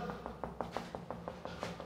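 Rapid, evenly spaced taps on an apartment wall search for a hollow spot over hidden outlets that is to be broken open. Each tap is a short, dry knock with a hollow midrange tone that dies away almost at once. The wall sounds hollow there, marking a void.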